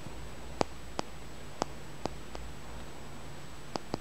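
A small, solid, dark blackish tumbled and polished stone is held in the fingers and tapped and scratched with the fingernails. Seven short, dry clicks land at irregular intervals over a quiet, steady hiss with a faint low hum. Each click ends almost instantly, with no ring.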